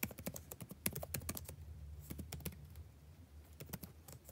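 Fingertips type continuously on the blue-backlit plastic keycaps of a dark laptop keyboard, producing a rapid run of short, dry clicks and taps. The taps are clustered more densely at the start and thin out slightly toward the end. A steady low hum sits underneath throughout.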